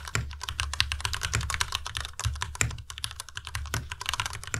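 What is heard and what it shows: Fingertips type fast on a white tenkeyless Ducky Miya Pro mechanical keyboard with plastic keycaps. A dense, steady stream of crisp, bright clacks rides over a low, hollow thud from each keystroke, and every key sound dies away almost instantly.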